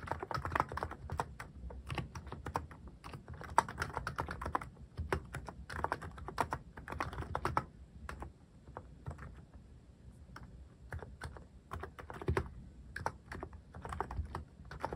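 Fingertips type on a white mechanical keyboard with plastic cat keycaps. Quick, short clacks run continuously in bursts, with a low thud under each press and a brief, dry sound that doesn't ring on. The typing eases off slightly in the middle before picking back up.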